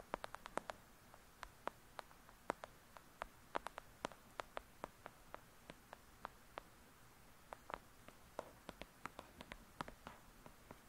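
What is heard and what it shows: Long acrylic nails quickly tap and scratch the cover of a thick "Lady Midnight" paperback book. The result is a quiet, rapid series of sharp, dry clicks that are bright and very short, each dying away almost instantly. Faint scratchy rustles and a low steady hiss sit between them.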